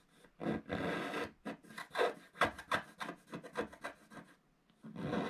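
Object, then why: Wax-coated scratch-art paper scratched with a wooden stick. A wooden stick scratches lines into a flat black wax-coated scratch-art page in a book while the other hand steadies the page. Long dry, rasping strokes alternate with a quick run of shorter scratches, each with a bright, papery hiss. A pause follows before one more long scrape.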